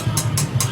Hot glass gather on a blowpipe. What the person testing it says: sharper sound right that's much colder that's very very cold